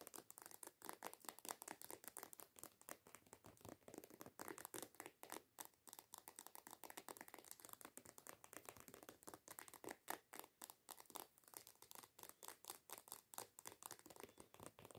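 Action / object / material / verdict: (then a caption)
tap / plastic lotion bottle / plastic / none. Long acrylic nails quickly tap and scratch over the label of a hollow white plastic coconut body lotion bottle lying on its side. Dozens of quick, dry clicks and scratchy rasps follow one another at an uneven pace, each dying away instantly. The sound is quiet, crisp and bright, with almost no low end.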